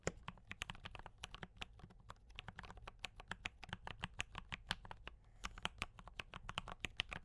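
Fingertips of both hands type on a D84 mechanical keyboard with brown switches and cream and red plastic keycaps. About 45 keystrokes fall in a steady, quick rhythm over seven seconds, each a short, bright plastic clack over a soft low thud that dies away almost instantly.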